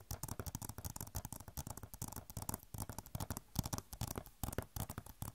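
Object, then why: Plastic game case. Long nails scratch and tap on an Overwatch PC game box, a hollow plastic case with a glossy cover. Dense, quick clicks and scrapes come one after another, each dying almost instantly. Soft low thumps sit under brighter ticking and scratching.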